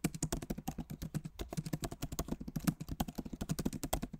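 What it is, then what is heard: Plastic laptop keyboard typing. Both hands type rapidly with their fingertips on a backlit MacBook Pro Magic Keyboard with plastic keycaps set in an aluminum body. About thirty-two quick, soft, low clicks and taps come in an uneven stream. Each one is dry and dies away almost at once.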